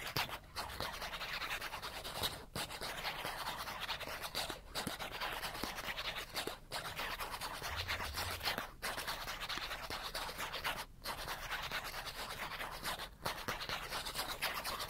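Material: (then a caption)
Cardboard. Fingernails scratch aggressively and fast across the face and edge of a small, flat, die-cut cardboard chipmunk card. The result is a dense, bright rasping scrape that runs almost continuously, broken by brief pauses roughly every two seconds.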